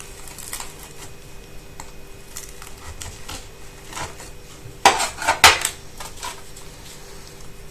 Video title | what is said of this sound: Νηστίσιμα Μηλοπιτάκια με Σπιτικό Φύλλο Αέρος (Χωρίς Πλάστη!) 🍎🥧 | ध्यान से सुनिए, फिलो कितना कुरकुरा है